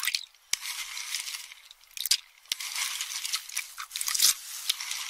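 A metal spoon stirs and crushes empty pistachio shells in a small metal bowl held in one hand, giving a steady bright crunching and scraping. Sharp, dry clicks punctuate the dense crackle, with almost no low end and very little ring after each snap.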